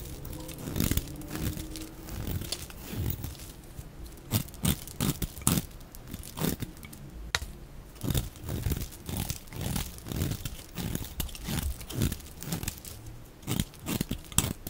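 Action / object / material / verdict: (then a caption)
scrape / bar of soap scraped by a metal blade / soap / none. A metal utility-knife blade scrapes along the edge of a solid, dry, rectangular pink bar of soap held in one hand, shaving off curled strips that pile up beside it, played at double speed. Quick, dry, crunchy scraping strokes with a tearing, crinkly texture follow one another in rapid uneven bursts, each cutting off sharply with no ring.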